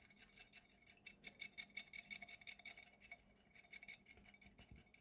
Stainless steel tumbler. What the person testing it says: you can hear like a rattling sound